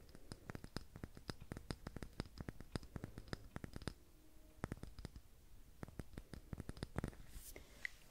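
A filled dark green glass candle jar with a paper label is held in both hands and tapped and scratched with long red-painted nails on the glass and the label. Quick, dry clicking taps come in fast bursts with brief pauses, layered over soft scratching. A brighter brush of scratching rises near the end.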